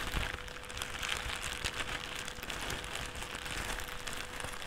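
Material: Plastic.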